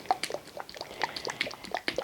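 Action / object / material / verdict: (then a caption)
shake / plastic container of acrylic pour paint / acrylic paint / none. A container of acrylic pour paint mix is shaken to judge by ear whether it is thinned enough. Around fifteen quick, wet sloshes and splashes follow one another over two seconds, with a mid-pitched liquid tone around 750 Hz and bright splashy highs.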